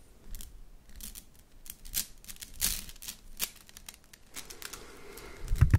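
A red plastic slinky spring is stretched upward and let fall back into the palm, its coils clattering together. Quick, dry, bright clicks and rattling bursts come in uneven clusters, ending with a louder, fuller clatter and low thump.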